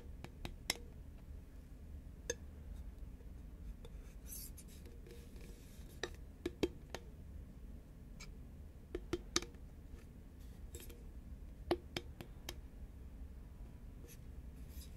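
Long nails and fingertips tap a hollow green Pringles paperboard chip tube with a plastic lid, giving quiet, short, dry clicks with a faint hollow tone. The clicks come irregularly over a steady low background hum.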